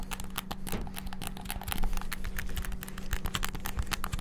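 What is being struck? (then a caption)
Plastic game controller buttons. Fingertips tap very rapidly on the buttons of a white and black hollow plastic PS5-style gamepad. The result is a dense, continuous patter of short, dry plastic clicks over a faint steady low hum.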